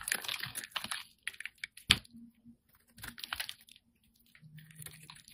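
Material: Soap.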